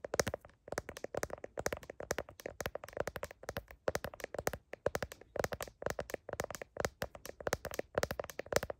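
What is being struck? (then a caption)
Smartphone in a plastic case. A smartphone in a blue heart-patterned plastic case is tapped densely and quickly with long nails on the case back and camera lenses. The clicky taps come in rapid bursts, each dry and short with almost no ring, centered around 520 Hz with a bright, crisp edge.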